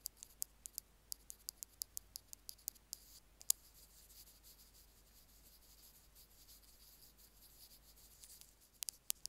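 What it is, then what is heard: Small plastic earphone mic remote. Two bamboo ear picks rapidly tap and scratch the end of a small white plastic Apple earphone mic remote resting on a stone slab. About twenty quick, bright, dry ticks come in a fast run over the first few seconds, then give way to a quiet stretch of faint scratching before a few more taps at the end. Each tick dies out almost instantly, with very little low end.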